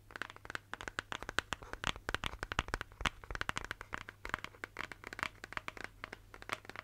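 Long nails tap and scratch the sides of a hollow, apparently empty pink plastic shaker bottle with a screw lid. Roughly 45 quick, dry clicks and scrapes sound with almost no ring, centered in the upper mids with bright crinkly edges. A faint steady low hum runs underneath.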